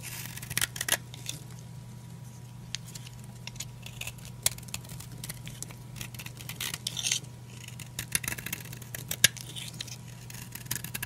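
A utility knife blade scrapes and cuts brittle flakes from the surface of a solid, old, dry blue oval soap bar held in the palm. It makes crisp, bright scraping and sharp crackling snaps that come in irregular bursts over a steady low hum. The cuts are dry and short, with almost no ring.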